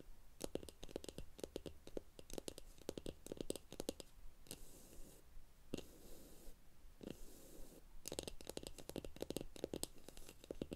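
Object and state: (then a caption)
Wooden block tapped and scratched with nails. Long acrylic nails tap and scratch the top edge of a small rectangular solid pine wood block resting on a stack of comic books. Rapid clusters of dry, short wooden clicks with a mid-low knock are interrupted by a few stretches of soft, hissy scratching before the quick tapping resumes.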